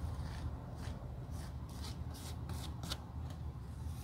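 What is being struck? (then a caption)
Leather shoe sole. The leather outsole and heel of a Gucci suede loafer, solid layered leather held in hand, are scrubbed with a stiff wire or bristle brush. Short, bright, dry scratching strokes sweep across the sole over a steady low hum.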